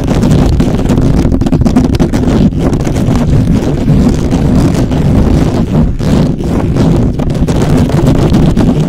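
Fingertips of both hands scratch fast across the hollow metal mesh head of a black microphone. The result is a loud, continuous, rough rumbling scrape, heavy in the low end with a dense crackling texture that barely lets up over the whole clip.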